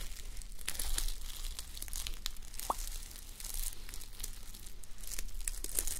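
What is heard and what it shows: Both hands with long nails rub and scratch a flip-sequin sleep mask, plastic sequins on fabric, resting on a mannequin head. The result is a steady, close, crinkly scratching with bright clicking ticks over a constant low hum.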